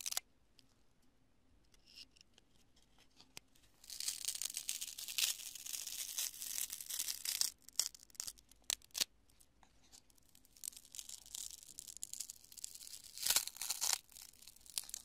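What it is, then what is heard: Cured polyurethane spray foam. A palm-sized chunk of cured polyurethane spray construction foam, solid and porous, is held in one hand and crushed and pinched with fingers and long nails. After a near-silent start, dense bright crackling and crunching bursts in, broken by a quieter stretch of scattered sharp snaps before the crunching resumes.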